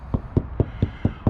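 Six evenly spaced taps on a hollow spot of a motorhome's rear wall panel, checked while fitting a bike rack, each giving a short, dull, low-pitched knock around 105 Hz that dies away almost at once. The panel sounds hollow at this spot.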